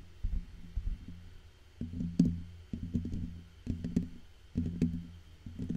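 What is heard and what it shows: Fingertips and short painted nails of both hands tap and scratch the hollow black metal mesh grille of a large microphone. The result is close, dull, low thumps with a faint hum-like tone, mixed with soft scratchy rustles that come in clustered bursts separated by brief quiet gaps.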